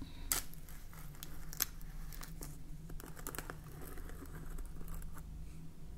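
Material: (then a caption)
Plastic. A clear plastic jar full of salt, labelled "соль" and topped with a red plastic cap, has its label and cap tapped by long painted fingernails. The result is a run of light, quick clicking taps over a steady low hum.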